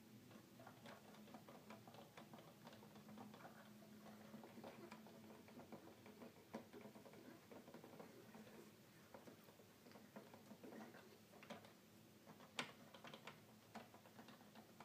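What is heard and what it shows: Fingertips press and tap the white and black plastic keys of a red plastic children's electronic keyboard with a hollow body, apparently unpowered. The result is a quiet, steady patter of short, clicky key sounds over a faint low hum, with a few sharper taps standing out.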